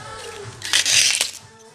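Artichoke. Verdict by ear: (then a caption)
Fresh. A fresh Sardinian "tema" artichoke is squeezed close to the microphone, giving off a burst of bright, high-pitched crunching and crackling. The crisp squeak marks the artichoke as very fresh.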